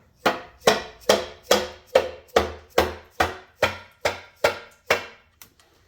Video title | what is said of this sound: Pontiac Vibe Part 4 , RockAuto did me wrong Don't get mad, get wrenchin | the first hit you could hear was hollow that was loose